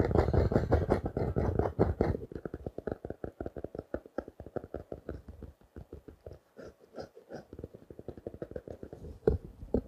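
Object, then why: Small spiral notebook wrapped in clear plastic. A small spiral notebook covered in clear plastic wrap is held in the hands and tapped and scratched with fingertips and short nails. A dense, crinkly scratching fills the first two seconds, then gives way to quick, irregular taps with a dull low thud and a short crisp plastic tick. One louder tap stands out near the end.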